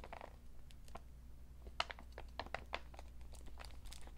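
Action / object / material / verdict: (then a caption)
scrape / paper shopping bag / paper / none. An empty, medium-sized cream NBA Store paper shopping bag, printed with basketballs and fitted with rope handles, is unfolded, crinkled and tapped with fingertips and short nails. Soft papery crinkles mix with sharp, dry clicks and brief crunchy ticks that decay almost instantly. A steady low hum runs underneath.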